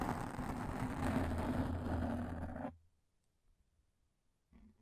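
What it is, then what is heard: Frosted plastic sheet being bent and scratched. A thin, flexible, translucent frosted plastic sheet is held in both hands close to the mic and bent while long painted nails scratch across it. This makes a dense, rumbling crackle with a strong low end for nearly three seconds. It then cuts off abruptly into near silence, with one brief soft rustle just before the end.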